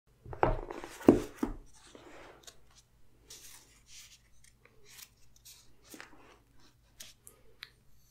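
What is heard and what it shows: Fingertips and nails rub and scratch across the printed paper pages of a large, thick phone book lying open on a table as the pages are skimmed and turned. Two louder papery rustles and thumps open the clip, followed by a series of soft, dry scratches and brushing sweeps over a faint steady low hum.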